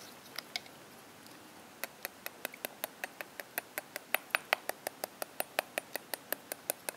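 A whole purple mangosteen with its stem cap, hand-sized with a solid thick rind, is held in the palm and tapped and scratched with the tines of a metal fork. After two light taps and a pause, about thirty short, dry, crisp ticks follow in a steady, even rhythm. Each tick is bright and clicky and dies away instantly, with no low-end thump.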